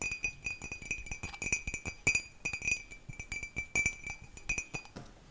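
A white, hollow, empty ceramic mug held by its handle is tapped rapidly with long nails. The result is a quick run of bright clinks with a ringing tone near 2.5 kHz, and each tap decays fast.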